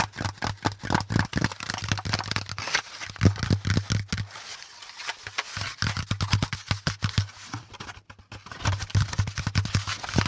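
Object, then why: Corrugated cardboard packaging insert. Fingertips scratch and tap rapidly on the flat panel of a brown corrugated cardboard packaging insert with hollow compartments. The result is dense, dry, hollow-sounding taps and papery scratching with a low thump. Brief quieter stretches of softer scraping come around the middle and near the end.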